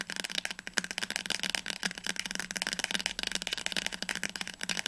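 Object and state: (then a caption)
Paperback book spine. A teal paperback book is held upright while its spine is tapped quickly with long nails and fingertips. The result is a rapid, continuous stream of crisp, bright clicks and light taps with almost no low end, each tap dying away almost instantly.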